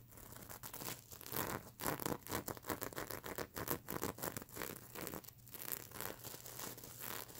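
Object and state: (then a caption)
Sequin plush pillow. Long nails scratch across the plastic sequin surface of a stuffed unicorn pillow, flipping the sequins. A steady run of dense, crackly scratching and soft clicking rasps continues throughout, with brief bright flicks as sequins turn over and a faint low hum underneath.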